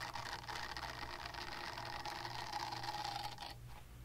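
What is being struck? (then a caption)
Silicone cleansing pad. Long nails scratch over the textured side of a small pink silicone cleansing pad, making a steady, dense rasping scratch with a faint mid-pitched tone running through it. The scratching stays even and close, then thins and quiets for the final half second.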